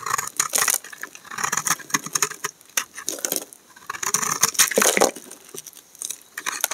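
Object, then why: Bar of soap and knife blade. A utility knife blade scrapes a solid pink and white bar of laundry soap, shaving off flakes that fall away. Dense bursts of bright, dry, crisp scraping and crackling come in quick strokes with short pauses. There is almost no low end and no ringing.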